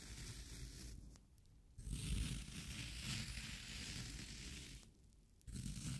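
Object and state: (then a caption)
Floral foam being scraped and crushed. A yellow-handled metal scraper digs into the pitted top of a round, solid, wet green floral foam cylinder, crushing it. Dense, low crunching mixes with gritty, bright scraping and rustling in sustained bursts, broken by two brief quieter pauses.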